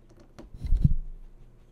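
Long nails tap along the glossy screen surface near the lower edge of a large flat TV screen that is switched on. The taps land as soft, dull, low thumps that cluster together with almost no ring, with a faint steady low hum underneath.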